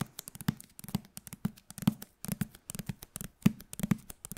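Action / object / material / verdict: tap / hardcover book with glossy paper jacket / paper, board / none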